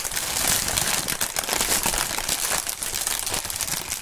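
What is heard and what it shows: A large, light sheet of clear plastic inflatable air-pillow packaging film with green print (Sealed Air), hollow and air-filled, is squeezed, crumpled and rubbed by gloved hands above a cutting mat. The result is a continuous, bright crinkling and crackling with dense rapid rustles and no pauses.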